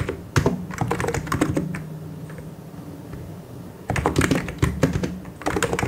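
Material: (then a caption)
Plastic. Both hands' fingertips type on a full-size white and grey mechanical keyboard with plastic keycaps. Quick bursts of short, clacky keystrokes with a low, thocky body sound in the first second and a half, then ease into a quieter stretch of lighter taps. A fast, dense flurry of keystrokes returns near the end.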